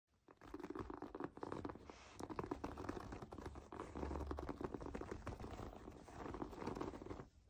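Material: Plastic foam.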